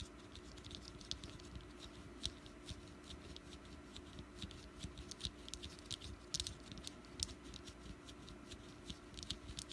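Long nails tap around the sides and top of a small, solid orange wax jack-o'-lantern candle, giving a quiet, irregular patter of short, bright clicks. Each tap dies away almost instantly over a faint, steady low hum.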